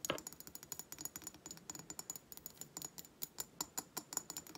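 Long fingernails rapidly tap a hobnail glass reed diffuser bottle with wooden reeds as it is tilted in the hands, and the reeds may clatter. About 29 quick, light, bright clicks with very short ring follow one another in an uneven, typing-like rhythm.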